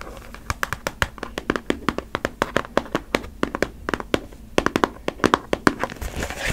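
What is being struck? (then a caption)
Cardboard tissue box. Long nails tap and scratch the sides of a hollow, cube-shaped, printed cardboard Puffs tissue box full of tissues. The result is a quick, uneven run of about 37 short, dry taps with almost no ring, mixed with soft scratchy crinkling.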